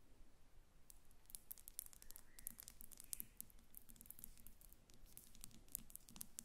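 Fingertips with long red acrylic nails on both hands tap quickly on a small Gucci glass perfume bottle standing upright on papers. The result is a rapid, quiet patter of bright, dry clicks that stop instantly with no ring.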